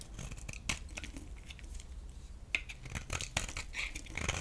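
A solid oval green bar of soap held in the hand is scraped and carved with a metal utility blade. The sound is a run of short, dry, crisp scrapes and shaving clicks with bright high edges, over a soft low background rumble. The cuts come in quick, uneven bursts and die away almost instantly.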